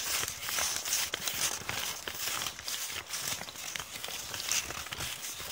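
Long painted nails and fingertips rub and scrunch a torn, crumpled piece of thin brown kraft paper bag with ragged edges. The result is a steady run of bright, dry crinkling and crackling, with fast irregular rustles and almost no low end.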